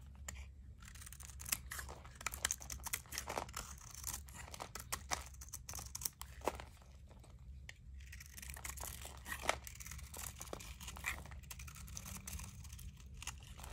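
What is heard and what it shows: A utility knife blade scrapes across the top of a solid blue dry Zest soap bar held in hand, shaving off crunchy curls. Dense, crisp scraping and crackling crunches come in quick bursts with short pauses, over a steady low hum.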